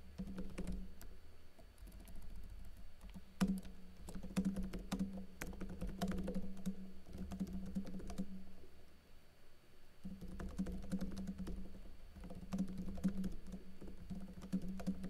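Fingers with blue nails type rapidly on a plastic backlit laptop keyboard with plastic keycaps, producing a steady patter of light clicky taps. Beneath the taps runs a continuous low hum, which drops out briefly near the middle before the typing resumes.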